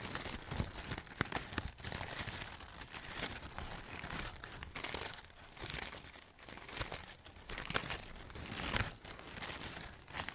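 Long painted nails and fingertips crinkle and rub a bunch of orange and red artificial fabric maple leaves, likely polyester with plastic stems, close to the mic. A steady, bright, dry crinkling and rustling runs throughout, with sharp crackles and soft swells as the leaves are squeezed and brushed.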